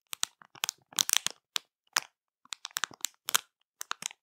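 Long matte nails tap, press and scratch a full plastic marshmallow bag over the soft marshmallows inside. The result is irregular bursts of sharp, bright crackles and crinkles, each snapping off almost instantly, with nearly all the energy high up and no low end.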